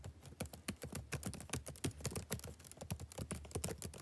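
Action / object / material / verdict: tap / plastic laptop keyboard / plastic / none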